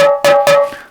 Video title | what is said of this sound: 三線 - 沖縄の弦楽器の制作風景 - 宮古木工芸 | この叩いている時に変な音が出る場合があるんです。「ミシッ」てその場合は、環境の変化等に耐えられないため、出荷しません。